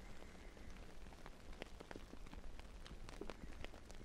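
Fingertips scratch the surface of a large, soft, filled navy fabric pillow held upright in front of a binaural mic, moving up to its top edge by the end. The result is a quiet, steady, rain-like rustle: brief, crisp ticks over a low, muffled rumble.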